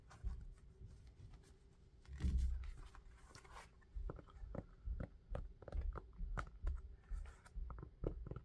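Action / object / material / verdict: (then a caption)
tap / knit mesh sneaker with rubber sole / rubber, knit mesh / none. An orange knit mesh sneaker with a rubber sole is turned in the hands while fingertips tap the sole and scratch the knit upper. Dull, low thuds and a brief rough scratching rustle are followed by a run of quick, muffled taps.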